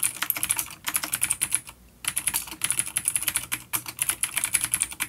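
Fingertips of both hands type quickly on a full-size dark plastic vintage mechanical keyboard with clicky blue switches and grey keycaps, resting on a wooden desk. The result is a dense run of sharp, bright clicks with short ticking decay, pausing briefly near the two-second mark before the typing resumes.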